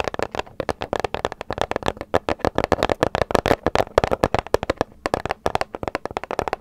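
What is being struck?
Paper gift bag.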